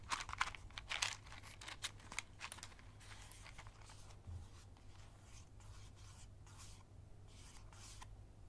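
A small, hollow cardboard safety-match box with a red and white label is held in the hands and rubbed and scratched with long nails and fingertips. Sharp, bright scratching and crinkling bursts come in the first couple of seconds, then settle into a softer, continuous papery scraping. A steady low hum runs underneath throughout.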